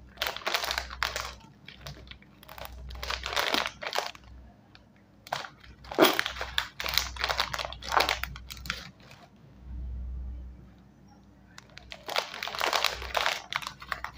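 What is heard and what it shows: A small sealed Scene On Krunch snack bag of foil-lined, metallized plastic film, puffed and full of chips, is held in both hands and squeezed and crinkled with the fingertips. Bursts of bright, sharp crinkling and crunching come in waves, separated by quieter pauses with a low steady hum underneath.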